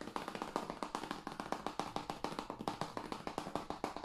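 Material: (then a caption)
Plastic. A hand-sized, hollow blue plastic PS5 game case for Call of Duty Cold War, with a printed paper insert, is held in the hands and tapped with the fingertips and nails on its face and edge. About thirty quick, light, hollow clicks follow one another in a steady, rapid rhythm. Each tap has a mid-pitched tone and dies away almost at once, with little low end.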